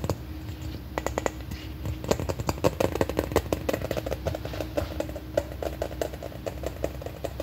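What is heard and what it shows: A large, ball-sized, red hollow plastic container shaped like an M&M is held in both hands and tapped and scratched with long painted nails. Dozens of quick, light, clicky taps follow one another steadily, each with a short hollow ring around 540 Hz, over a faint scratchy rustle and a low background rumble.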